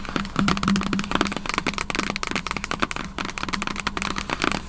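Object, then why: Cardboard laptop box. Long acrylic nails tap and scratch across the top lid of a large, hollow, white printed cardboard MacBook Pro box resting on a table. Quick, dry, hollow taps mix with brighter scratching, over a steady low hum.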